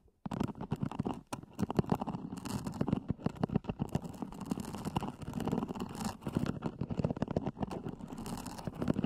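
Fingernails scratch the lid of a small, hollow, black zippered EVA hard-shell earphone case, recorded close-up. After a brief silence, a dense, continuous run of rapid scratching and tapping fills the rest of the clip. It sounds hollow and muffled, with most of its energy low and little high content.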